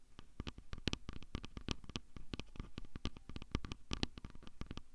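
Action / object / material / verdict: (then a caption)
tap / handheld plastic audio recorder / plastic / none. Fingertips and nails tap and scratch directly on the body of a handheld plastic Tascam recorder with built-in microphones. It makes a rapid, uneven run of dry, close clicks and soft thuds, heavy in the low end with bright crackly edges. Each tap dies away almost instantly.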